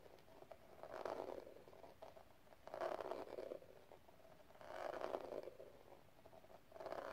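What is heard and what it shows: Long red nails tap rapidly on a small, hollow metal cigarette case covered in pink rhinestone gem tiles and held in the palm. Quiet bursts of fast, clicky tapping with a light hollow ring centred around 660 Hz rise and fall, separated by softer, scratchy pauses.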